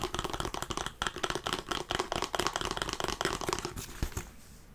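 Fingernails tap and scratch rapidly across a large, hollow, handheld treasure-chest box made of wood, with a dark brown faux-leather surface, metal studs and a latch. The sound is a dense run of quick, dry, crackly clicks and scrapes with a hollow knock underneath, fading to quiet near the end.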